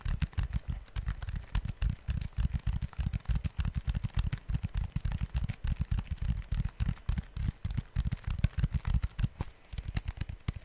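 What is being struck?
Plastic electronic organizer with calculator keypad.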